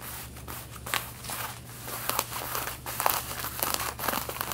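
Long red-painted nails scratch the back pockets of worn light blue denim jeans, making dry, bright scratching and rasping strokes with a faint steady low hum underneath.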